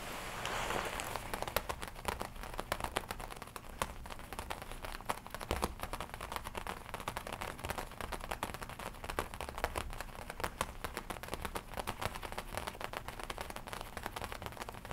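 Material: Leather.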